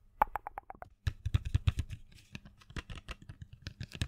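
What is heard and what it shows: A small printed cardboard box full of colored pencils, held in the hand, is tapped and scratched with long fingernails. A quick run of light taps with a faint hollow ring opens the clip, then gives way to a denser patter of dull taps and scratchy clicks over a low, soft thud.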